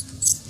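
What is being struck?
Metal coins inside a small coin purse.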